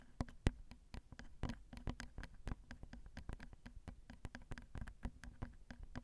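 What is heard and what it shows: A single long fingernail taps and scratches the left capsule of a Zoom recorder's XY microphone, whose small hollow metal grilles pick up every touch. A quick, uneven stream of short, dry, close-up taps and light scrapes follows, each sounding as a soft, low-heavy thump with only a faint bright click on top and almost no ring. The overall level stays quiet.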